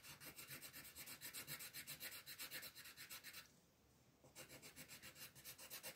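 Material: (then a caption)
Paper. A pink wooden colored pencil shades a petal on a flat white paper coloring page with rapid back-and-forth strokes, giving a bright, dry scratching rasp. About 22 quick strokes are heard, with a brief quiet pause near the middle before the shading resumes at the same steady pace.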